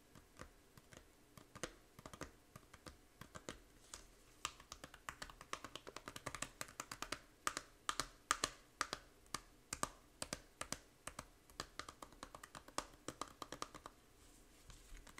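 Long nails tap rapidly on the front cover of a small, hollow plastic Nintendo 3DS game case for Fantasy Life. Dozens of quick, dry, bright clicks come in uneven bursts with almost no ring after each tap, with a hollow plastic tone around 1.2 kHz.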